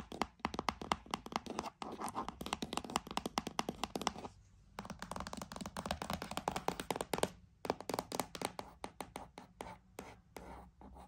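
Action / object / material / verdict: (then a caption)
tap / cardboard box / cardboard / none. A cardboard box is tapped and scratched for ASMR, giving a dense run of quick, dry taps and papery scratches with almost no ring. The rapid tapping pauses briefly around the middle, then resumes and thins into sparser taps toward the end.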